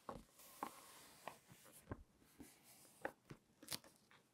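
Spread fingertips rub the pages of an open glossy-paper lifestyle magazine lying on a table, then turn the pages. Quiet, soft papery hissing is broken by a series of short, crisp crackles and snaps, some with a bright edge.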